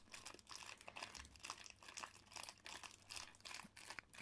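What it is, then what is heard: Shrink-wrapped cardboard box. Fingertips press and rub the clear plastic shrink wrap still sealing a medium-sized, hollow cardboard PS4 collector's edition box, held on a table with both hands. The result is a steady stream of bright, dry crinkling and crackling in quick bursts, with almost no low end.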